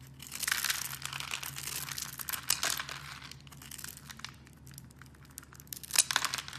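A blade cuts through a rectangular solid green bar soap pre-scored into a grid, so small cubes crumble off. Dense, bright crinkling and crackling runs throughout, swelling into louder crunchy bursts near the start, middle and end. A faint steady low hum sits underneath.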